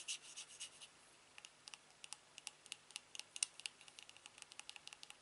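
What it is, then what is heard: Aluminium TV remote. A silver aluminium TV remote is turned over while fingertips tap and rub along its smooth metal back and body. A few soft brushing swipes open the clip, then a steady run of light, sharp, bright ticks follows. Each tick stops dead, with no ring or low end, at a quiet level.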